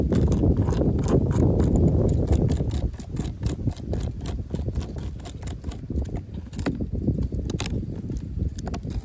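Long pink acrylic nails tap and scratch the ribs of a corrugated yellow plastic safety cap, a hollow ribbed tube on top of a chain-link fence. Rapid, uneven hollow tapping and raspy scratching go on throughout, louder for the first couple of seconds and then a bit softer.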